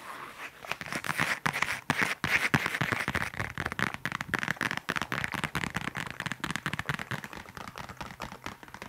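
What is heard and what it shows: A flat, rectangular black leather case or wallet is tapped and scratched with long nails and fingertips. Rapid, dense crackly taps and scraping rustles follow one another almost without pause, with brief sharp clicks standing out.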